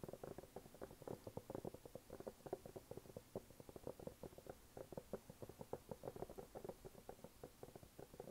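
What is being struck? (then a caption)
Rubber sneaker outsole. Fingernails tap and scratch the brown waffle-pattern rubber outsole of a red canvas sneaker held up in a hand. The result is a quick, uneven run of short, dry, soft clicks with almost no ring, their tone centred in the low mids around 400 to 500 Hz. Faint scratchy rustling fills the gaps between taps.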